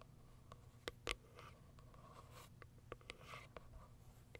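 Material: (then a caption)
Cardboard. Long acrylic nails scratch and tap the top of a small white Kiara Sky cardboard box where its plastic window sits. Quiet, scattered dry clicks and taps stand out over soft, bright scratching, with a faint low hum underneath. Each tap stops almost instantly with no ring.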